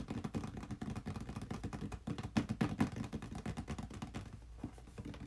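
A small, hollow, red printed cardboard box, the packaging for a game controller, is held upright in both hands and tapped with the fingertips. The result is a quick, uneven stream of soft, dull, hollow taps. They are low and muffled, with almost no ring.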